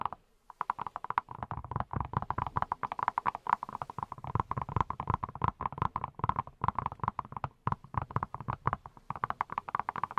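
Fingertips wearing silicone rubber pads tap rapidly and continuously on a hand-sized yellow silicone pineapple-shaped brush that appears hollow. The result is a quick run of soft, muffled, hollow pats with a steady mid-pitched tone and a low thump under each touch. Each tap dies away almost instantly, with no ring.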